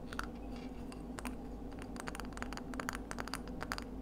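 Long acrylic nails tap and scratch along the ridges and smooth inner surface of a palm-sized, hollow, empty pink-white ridged scallop shell held in both hands. Rapid, bright, clicky taps with short scratchy scrapes come over a steady low hum.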